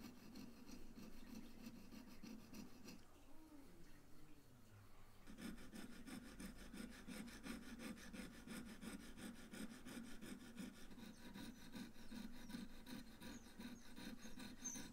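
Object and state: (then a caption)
Stainless steel watch case being filed. A hand-held steel file is drawn back and forth across the lug edge of a small, hollow stainless steel case from a 1970s Tissot Seastar wristwatch, clamped in a case holder with a white plastic insert. Steady, rapid rasping strokes with a low, gritty buzz and a bright scratchy edge run throughout. They ease into a quieter, softer stretch around the third to fifth second, then resume at full strength to the end.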